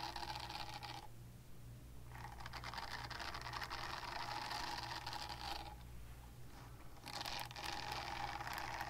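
Long nails scratch across the nubs of a small pink silicone cleansing pad, which is solid and flexible. Dense, bright, rustling scrapes with a steady mid-range tone come in bursts, pausing briefly twice, over a constant low hum.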